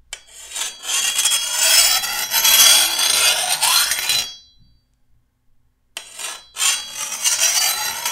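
A long, thin, solid steel machete blade, held upright, is filed along the other side of its edge with a hand-held steel file. Harsh, bright rasping strokes scrape along the blade for about four seconds, then go silent. After a short pause, the filing starts again in quick, uneven bursts.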